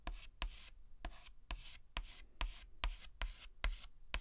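A white chalk stick held in the fingers writes and scratches strokes across a flat black chalkboard. Ten sharp taps of the chalk meeting the board can be heard, each followed by a bright, gritty scraping drag, at a loose and uneven pace of a little over two strokes per second.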